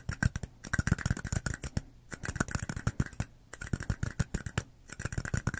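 Long nails tap and scratch the walls and bottoms of two small identical red plastic party cups with white bottoms, hollow and empty, one held in each hand close to the mic. Quick bursts of short, dry, hollow plastic taps with a low body come in rapid clusters separated by brief pauses, with light scratchy rasps between them.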